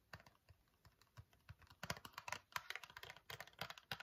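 Fingernails tap rapidly on a small, hollow Nair cardboard wax strip box, making crisp, bright, dry clicks with almost no ring, softer at first and louder and busier in the second half. The lid flap is opened at the end.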